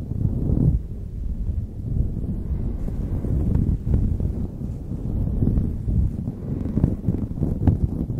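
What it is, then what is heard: Knit beanie scratched over microphone. Long nails scratch and rub the knit surface of a light blue knit beanie pulled over a microphone. The result is a continuous, muffled, low rumbling scrape with soft rustling swells and almost no bright content.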